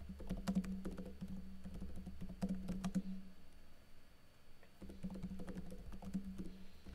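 Fingertips with blue nails type slowly on a plastic backlit laptop keyboard with plastic keycaps, producing soft, irregular clicking taps in two bursts separated by a short pause. A steady low hum sits underneath the quiet, dull keystrokes.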